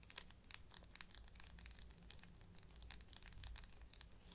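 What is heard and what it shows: Long black nails scratch and tap along a thin brown faux leather shoulder strap of a bag, held bent between both hands. Quiet, rapid, bright clicks and crinkly scratching rustles repeat throughout, over a faint low hum.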